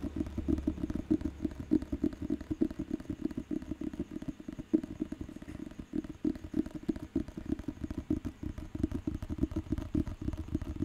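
Fingertips and nails tap and scratch the glossy front cover of a thick, solid paperback dictionary held in the hand. Rapid, dense, dull taps blend with a dry scratching texture, mostly low and muffled with little brightness, continuing steadily throughout.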